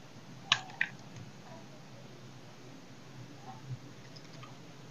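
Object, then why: Bar of soap cut with a knife. A knife blade scrapes and carves the edge of a solid oval dry soap bar held in the hand. Two sharp, bright crisp snaps come close together near the start, followed later by a softer third click. Faint hiss fills the quiet stretches between them.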